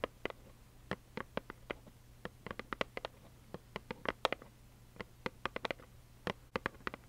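Long acrylic nails tap on a small, hollow plaid cardboard tissue box held up close. Short, dry, clicky taps with a bright edge come in an uneven, unhurried rhythm, each dying away almost at once. A faint, steady low hum sits underneath.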